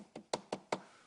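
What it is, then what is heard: Tom drum shell tapped for its pitch. A tom drum shell is knocked four times to find its natural pitch, each tap giving a short, dry knock centered around 600 Hz that dies away almost at once. A thicker shell gives a higher pitch and a thinner one a lower pitch.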